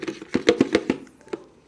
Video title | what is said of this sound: 샘물교회/새벽기도회/[자녀특새]하나님의 말씀은.../시편 119:105/배성윤 목사[20230211] | 그렇게 큰 거 같진 않은데 생각보다 둔탁한 소리가 나죠